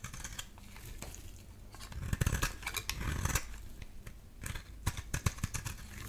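A metal utility-knife blade scrapes across a solid light-blue oval bar of soap held in the hand, shaving off curls and flakes. Soft, dry scraping runs throughout, broken by clusters of crisp, bright shaving strokes with a low, dull body beneath.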